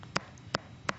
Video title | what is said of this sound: Debbie Meyer UltraLite GreenBoxes 28piece Starter Set | that thick Hollow sound that is a sound of an extremely fresh pepper